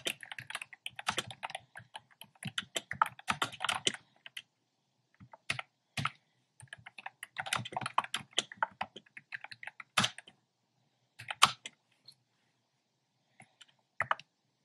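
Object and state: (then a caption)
Plastic keyboard with round keycaps. A black plastic keyboard with hollow, round pastel retro keycaps is typed on by fingertips with painted nails. Bursts of quick, light clicky keystrokes with bright, short-lived clacks are broken by pauses and a few sharper single taps. The sound stays crisp and tapping throughout.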